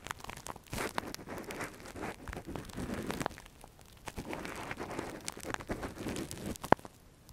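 A gloved hand scratches inside the hollow canal of a soft translucent silicone ear model, a binaural microphone cover, with a thin metal earpick. Close, dry scratching, crinkling and crunching come in two long bursts with a brief quiet gap between them, plus a sharp click near the end.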